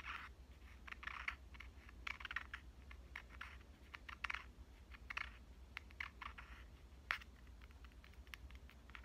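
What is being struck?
Compact digital camera, metal and plastic body.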